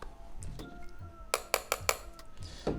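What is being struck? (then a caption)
Portable SSD enclosure, plastic body with metal face plate. Tapping the casing of a Seagate Fast SSD portable drive, whose body is mostly plastic with only the logo face plate in metal, gives four quick, bright, clinky taps followed by a duller knock. The taps sound metallic despite the plastic body, which is normal for this enclosure.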